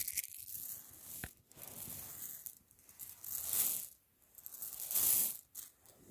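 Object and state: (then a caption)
Pile of acrylic plastic gems. Fingertips rub, push and scratch through a loose pile of many small translucent pink faceted acrylic gems (solid plastic) resting on a white fabric sheet, so the gems click and slide against each other. The result is a quiet, bright, crackly rustle of tiny clicks that rises and falls in several swells with brief near-silent gaps, with almost no low end.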